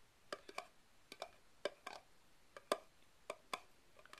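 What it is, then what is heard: Plastic party cup tapped. Fingertips tap the base and sides of a single upside-down red plastic party cup, hollow and empty, resting on carpet, with other cups standing nearby untouched. About a dozen short, dry, hollow plastic taps land at an irregular pace, each with a light mid-pitched ring that dies out almost immediately.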